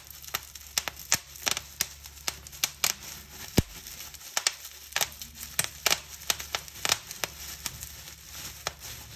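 Fingers with long nails pinch a clear plastic bubble wrap sheet, popping bubbles one after another in a rapid, irregular series of sharp, bright snaps. Soft crinkling of the plastic film rustles between the pops, and each snap cuts off almost instantly.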